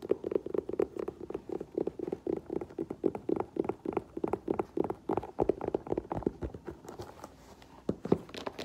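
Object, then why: Faux leather boot with rubber sole. Long nails tap rapidly on the toe and rubber platform sole of an olive faux leather lace-up boot as it is held and turned, then set on the floor. The taps are short, dry, hollow clicks centered in the low-mid range around 390 Hz, with little ring. Near the end they thin out to a few sharper knocks.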